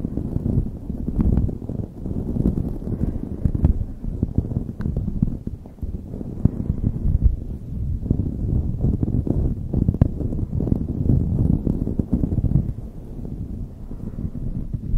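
Long nails scratch continuously over a light blue knit beanie pulled over a microphone. The result is a dense, muffled, rumbling scratch that stays steady across the whole clip, heavy in the low end with almost no bright content.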